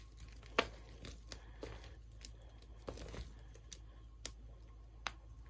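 A large pile of dry pink-purple shaved soap scraps on a wooden floor is squeezed and crushed between bare fingers and palms. It gives soft, crinkly crunching and tearing sounds, broken by sharp, bright snaps. A low steady hum runs underneath throughout.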